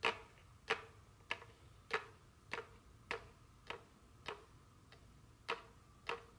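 A small, full rectangular cardboard box of Buncha Crunch Dark chocolate candy, still sealed in plastic wrap, is tapped with very long curved fingernails, first while it rests on a table and then while held in hand. Eleven short, dry taps come at a fairly steady pace of about one every 0.6 seconds. Each has a hollow, boxy knock around 450 Hz with a bright crinkly click of the wrap and almost no ring.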